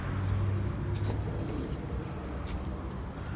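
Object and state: Nothing is struck.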